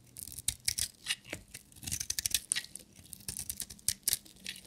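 A solid black bar of dry soap with glitter stripes is shaved with a metal utility knife blade. Each stroke gives a quick, dry, crackling scrape that is bright and high with little low end, repeating in short bursts with brief pauses between.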